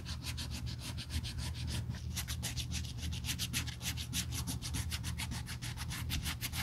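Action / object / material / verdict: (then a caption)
scrape / leather bag handle rubbed with sandpaper / leather / none. Gloved fingers rub a small piece of red sandpaper along the edge of the thin, solid black pebbled-leather handle of a Burberry tote. Quick back-and-forth sanding strokes make a steady, rhythmic, bright rasping that speeds up in the second half, over a constant low hum.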